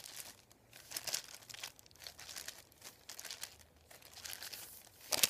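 Fingertips sweep, rub and crinkle a thin, flat sheet of printed white paper lying on a wooden table. Soft, bright rustling and crinkling comes in irregular bursts with almost no low end, ending in the loudest sharp crunch.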